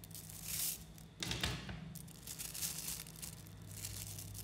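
A large clump of about 11,000 coated 3mm neodymium magnetic balls is held in both hands while fingertips squeeze, knead and pull the strands apart. The tiny metal spheres click and snap together in a dense, bright crackle like tearing or crinkling, with louder bursts near the start and middle, over a steady low hum.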